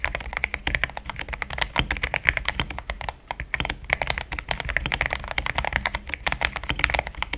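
Fingertips type rapidly on a mechanical keyboard with thick plastic keycaps resting on a deskmat. A dense stream of short, crisp clacks with almost no ring, centered around 2 kHz with bright upper edges and a soft low thud beneath, holding a steady fast rhythm with a brief lull near the middle.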